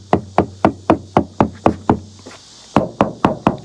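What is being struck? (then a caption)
Van side body panel, sheet metal. Twelve knocks tap along the sheet-metal side body panel of a van, on the side that had bodywork done and is missing its side lights. The knocks are short and dull with a quick decay, coming at a steady pace of about four per second, with a pause partway through before four more. This spot sounds like solid bare metal.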